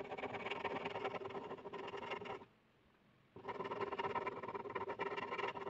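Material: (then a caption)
Paper. A blue plastic ballpoint pen held in the hand scribbles densely and continuously across a flat white paper sheet lying on a hard surface, making a steady, bright, rasping scratch. The scratching stops for almost a second near the middle, leaving near silence, then resumes with the same rapid strokes until the end.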